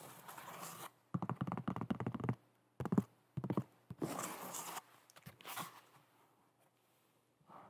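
A hollow white molded EVA foam slip-on shoe (foam runner) with cut-out holes is held up and tapped and scratched with long nails. Irregular bursts of dull, muffled thunks alternate with softer rasping scratches, heavy in low tones with very little brightness. Each tap dies away almost instantly, leaving short quiet gaps between the bursts.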